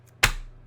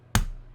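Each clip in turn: First: One sharp, bright smack with almost no ring, a crisp plastic slap rather than the soft thud of paper. Second: One soft, dull slap with a low thud and no ring: a stack of real paper banknotes, not plastic.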